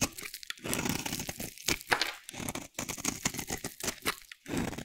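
A dry, solid light blue soap bar held in hand is shaved into flakes with a metal utility blade. Repeated crunchy, bright scraping strokes with a papery tearing texture come in quick, uneven bursts with brief pauses between them.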